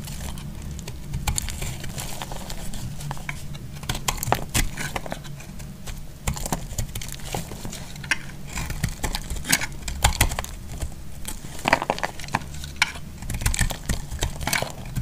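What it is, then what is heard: Bar of soap being shaved. A solid green bar of soap is shaved with a metal utility blade, producing a steady run of dry, crinkly scraping and crackling. Sharp, bright ticks and snaps pop out over a low, rumbling undertone. The shavings come off in quick, irregular bursts that keep going throughout.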